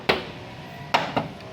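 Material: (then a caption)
Sheet steel. Three sharp knocks land on an original steel body panel of a Toyota Hilux, at a spot where the paint tester reads below 190, showing original paint over bare sheet metal. Each knock is a bright, hollow tap with a brief metallic ring centered near 950 Hz that fades quickly. The result is the normal tinny sound of sound original metal.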